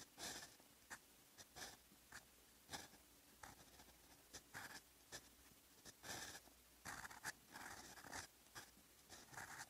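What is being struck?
Steel fountain pen nib on a lined paper notebook page.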